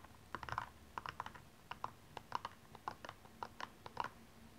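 Long nails scratch and tap across the rhinestone upper of a single blue rhinestone-covered stiletto high heel as it is turned from a front view to a side view. About eighteen quick, dry, bright clicks scatter over a quiet background, each with a short tick centered near 950 Hz that dies away almost instantly.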